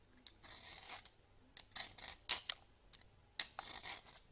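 A red peeler blade scrapes and grates a solid bar of soap, with the shreds piling up on the counter. Short, bright, dry scraping strokes come in uneven bursts, with a few sharper rasps standing out between quieter passes and no low-end body or ring.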